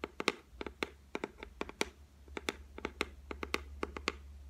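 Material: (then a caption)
Laminate. Long white nails tap rapidly on the solid, flat top of a white laminated shelf, giving about 22 short, dry clicks in quick, uneven bursts. Each tap is bright with almost no ring, over a faint low hum.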